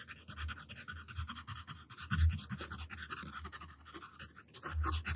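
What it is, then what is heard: Paper scratched with a pencil. The tip of a yellow wooden graphite pencil, held in the hand, scratches a flat white paper sheet lying on a table, drawing long lines. The result is a steady, uneven scratching texture with a low, rumbling weight and a thin bright rasp above it. It swells into louder strokes around the middle and again near the end.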